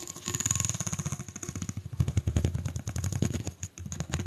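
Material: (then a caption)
Plastic. Long nails run quickly along the ridges of a single hollow, pink corrugated plastic pop tube held in both hands, producing rapid ratcheting clicks. The dense, evenly spaced clicks have a heavy low body and a bright, thin edge, with a brief dip near the two-second mark and another just before the end.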